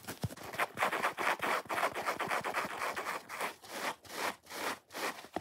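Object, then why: Foam kitchen sponge. A dry, watermelon-shaped foam kitchen sponge is held in both hands while fingernails scratch fast along its top scrubbing layer and foam face. The result is a rapid, uneven stream of rough, raspy scratching bursts, centered in the midrange with a bright hissy edge and almost no low end, each stroke dying away quickly.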